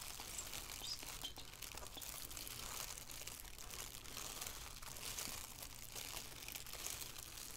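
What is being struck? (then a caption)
Thin plastic shower cap. A thin black plastic shower cap with a white elastic rim, empty and hollow and lying on a wooden table, is crinkled and rubbed with fingertips and long painted nails. A steady, soft, bright crinkling and crackling continues throughout over a low hum.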